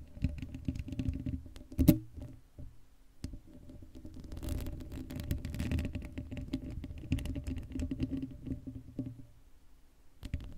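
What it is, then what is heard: Metal mesh microphone grille being scratched. Long acrylic nails scratch the hollow black steel mesh grille of a Blue Yeti microphone. The result is a dense, low, rumbling patter of scraping and tapping with a faint steady hum underneath. A sharper, louder scrape stands out near the two-second mark.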